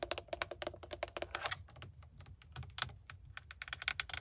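Long manicured nails tap across the hard plastic airbag cover and chrome-trimmed logo of a GMC truck steering wheel hub, a solid mounted surface. About twenty-two quick, dry, bright clicks sound in uneven bursts, each dying almost instantly, with a faint low rumble underneath and a brief lull in the middle.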